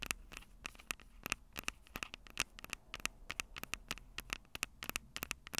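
Long purple acrylic nails tap and scratch the two small, crossed metal mesh microphone capsules on the hollow plastic body of a Tascam DR-05 handheld recorder. The result is a quick, irregular run of sharp, bright clicks with a tone around 2.6 kHz, each stopping almost instantly. Soft scratchy rustling and a faint low hum fill the gaps between them.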